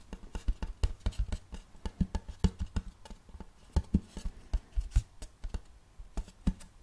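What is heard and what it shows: A large, round, checkered wooden serving platter is tilted and turned in the hands while fingertips tap and scratch its face and rim. A rapid, uneven run of short, dry, low knocks comes with a faint scratching hiss underneath. Each tap dies out almost instantly with no ring.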